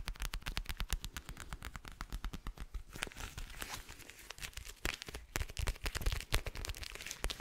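A flat, hand-sized, teal clear plastic gel ice pack filled with gel beads is scratched and tapped on its textured surface with fingernails and fingertips, close to the mic. Quick, crisp taps with soft low thumps come in a rapid, uneven stream, broken around the middle by a stretch of denser crackly scratching before the tapping picks up again.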